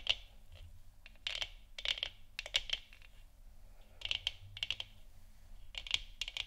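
A hollow, lit plastic moon lamp sphere is tapped and scratched with the long nails and fingertips of both hands. Quick bursts of bright, dry clicking taps and scratches come in clusters, each dying away almost instantly, with a sharp tone around 3.2 kHz over a faint low hum.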